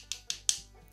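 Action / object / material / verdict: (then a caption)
knock / meat and potato croquettes knocked together / frozen dough / frozen. Frozen dried-beef croquettes made with potato dough are knocked together three times, each producing a sharp, bright, stone-like click with almost no ring. The hard knocks show the croquettes are frozen solid.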